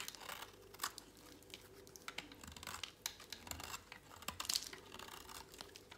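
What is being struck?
Bar of soap shaved with a blade.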